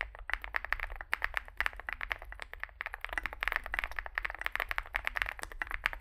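Fingertips type continuously on a small Zoom65 65% mechanical keyboard with a dark case and white and grey plastic keycaps. A rapid, uneven stream of short, sharp plastic clacks carries a bright midrange tone and dies away almost instantly. A steady low hum sits underneath.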